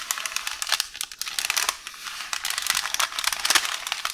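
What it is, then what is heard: Roll of baking paper being crinkled. One hand with long orange nails grips, scratches and crinkles a roll of beige parchment baking paper on a counter. The result is a dense, bright, crackly rustle of quick sharp clicks and crinkles with almost no low end, swelling and thinning over a few seconds.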